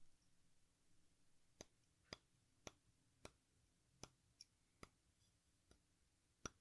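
A metal exacto knife scrapes a hand-sized solid chalk watermelon slice (watermelon-shaped sidewalk chalk) across its red face and green rind edge, shaving off powder. Heard as a sparse series of short, sharp, bright clicks that die away almost instantly over a quiet low background hum.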